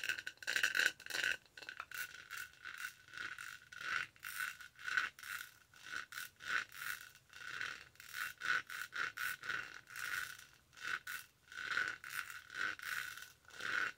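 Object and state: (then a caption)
Textured plastic tumbler lid. Long nails scratch back and forth across the raised pattern of a detached purple textured plastic tumbler lid held in both hands. The result is a quiet run of quick, dry scraping strokes with a rattly, ratchet-like texture and a bright rasp centered around 1.5 kHz, each stroke dying away almost instantly.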